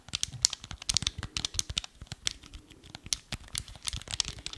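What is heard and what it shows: Fingertips and nails tap and scratch along the surface of a small, hollow, black hard plastic Wii remote held horizontally. The result is a quick, irregular run of crisp, bright clicks and scratchy rustles, each dying away instantly with no ring.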